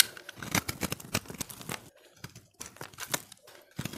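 A utility-knife blade scrapes flakes from a solid, hand-held recycled soap ball of pressed, multicolored dry soap that has been partly carved down. Quick, crisp, bright scraping strokes come in an uneven series, with brief quiet gaps before the scraping resumes.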